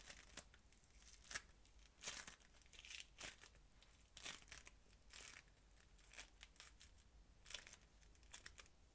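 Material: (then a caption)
Polystyrene beads. A hand-sized solid lump of crunchy yellow-green polystyrene-bead modelling foam is squished, kneaded and rubbed by the fingers and palms of both hands. Bright, dry crackling and crinkling bursts rise and fall in irregular clusters over a faint steady low hum, each burst dying away almost at once.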